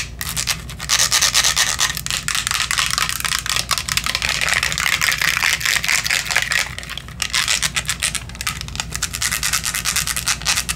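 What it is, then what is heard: Glass perfume bottle. A small, clear glass perfume bottle with a pink plastic cap, partly full, is tapped and scratched with long acrylic nails. The result is a fast, continuous stream of bright, hissy scratching and rubbing with rapid clicky taps that die away almost instantly. There is a brief quieter stretch just past the middle before the scratching picks up again.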